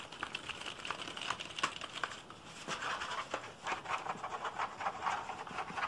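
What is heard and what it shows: Fingertips tap quickly across the keys of a black plastic computer keyboard with a hollow casing, producing a dense patter of light, bright clicks. The keyboard is then turned over and the back of the plastic case is tapped and scratched, giving softer hollow knocks and scraping.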